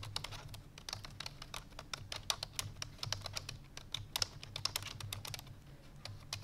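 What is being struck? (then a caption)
Plastic computer keyboard. Fingertips with long painted nails rapidly press the keys of a full-size black plastic computer keyboard resting on a white fur rug. The result is a fast, continuous run of bright, sharp clicky taps, each dying away almost instantly, over a faint steady low hum.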